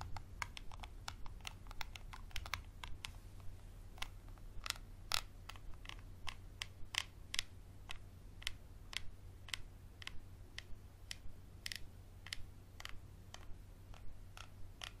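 A capped Sharpie marker is scratched along a small textured glass bottle with a paper label and a black cap. It makes a quick, irregular series of short, bright ticks and scrapes that die away almost at once, over a steady low hum.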